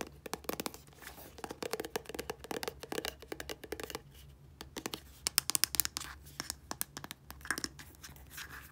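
Long polished nails scratch and tap along a small, dark plastic 60 ml squeeze tube of body wash with a blue plastic cap, hollow and filled. A rapid, uneven run of crisp, bright clicks and scratchy rasps is heard, each dying away at once over a faint steady low hum.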